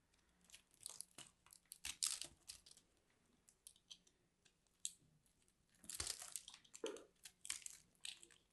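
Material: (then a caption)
Soap. A fist-sized, solid orange and cream ball of grated soap is held in the hand and scraped and cut with a metal blade, its shavings crumbling away. Crisp, bright crunching and scratchy scraping come in short, irregular bursts with quiet gaps between them, with almost no low end.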